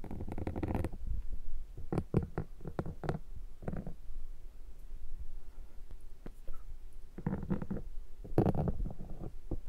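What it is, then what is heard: Foam microphone windshield being scraped. A metal pick is scratched across a black foam microphone windshield, producing low, muffled scraping and squishing bursts. Dense rubs come at the start, then a series of short strokes and quieter pauses, and more heavy scraping bursts near the end.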